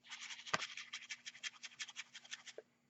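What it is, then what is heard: Shaker card with loose contents. A handmade paper shaker card, reworked from a store-bought card, is shaken close up, and its loose contents rattle inside in a quick series of bright, scratchy bursts. A sharper click comes early, and a faint steady low hum runs underneath. The sound shows the shaker elements are loose and moving freely inside the card.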